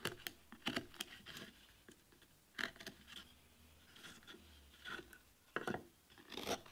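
A steel carving chisel scrapes and cuts into a solid wooden board with a leaf relief, held by hand on a workbench. Short, bright scraping and cutting strokes come in uneven bursts with brief rasping sweeps between them and quiet gaps in between.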